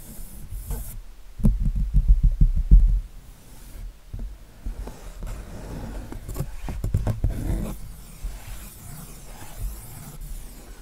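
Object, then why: Acrylic-painted canvas. Fingertips rub and scratch across the acrylic-painted area of a giraffe painting on a white canvas. The result is dull, low, rasping friction with soft irregular thumps, loudest in a dense burst early on before settling into quieter scratching.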